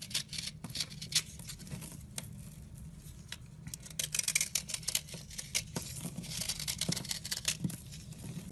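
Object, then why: Block of white soap scraped with a blade. A round block of solid, dry, chalky white soap is scored and scraped with a red-handled blade, crumbling into flakes. Bright, crisp scratching and crackling come in quick irregular bursts over a faint low hum.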